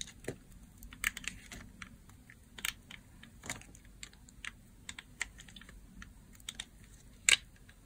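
A blue bar of dry solid soap, already partly carved, is cut and scraped with a utility blade. Short, crisp, bright crunching clicks come one after another over a faint low hum, with the loudest snap near the end.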